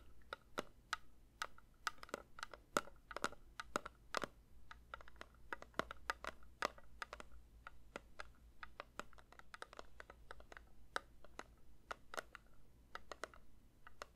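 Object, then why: Metal candle tin. A metal candle tin is lightly tapped with the fingers in a quick, uneven run of soft, dry taps. Each tap is brief with a faint metallic ring near 1.3 kHz and bright clicky edges, over a steady low hum.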